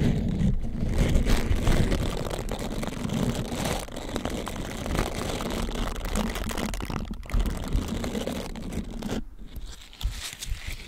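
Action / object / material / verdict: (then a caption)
scrape / silicone bristled scrubber / silicone / none. A hand-sized, flexible green silicone bristled scrubber sponge is bent with both hands and wrapped over the microphone while fingertips rub and scratch its bristles. This makes a dense, continuous low crunching and scraping rustle with a heavy bass rumble, briefly dropping away near the end before resuming more softly.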